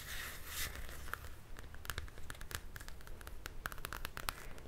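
Long dark nails scratch and then tap quickly on the glossy card front cover of a Frozen paper coloring book held in one hand. A brief hissy scrape gives way to an uneven series of short, dry, bright clicks over a faint low rumble.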